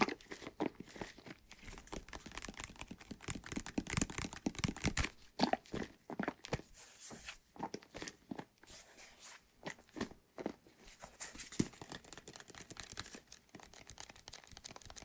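A white plastic bottle with soapy water inside is tilted and shaken while fingertips tap and scratch it close to the mic. The result is a quiet, dense stream of dry, crunchy taps and crinkly scratches with short, dead decays, spread broadly from low thumps to bright hiss.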